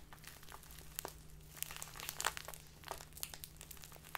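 A small plastic bag filled with tea is handled and crinkled with fingers and long dark nails, giving a run of sharp, bright crackles and rustles. A steady low hum sits underneath.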